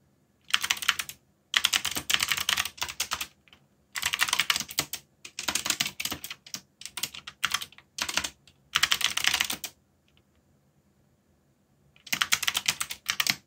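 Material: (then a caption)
Plastic. Fast fingertip typing on a backlit mechanical keyboard with black plastic keycaps makes bursts of quick, bright clicking clatter. The bursts are separated by short pauses and one longer silence near the end before the typing resumes.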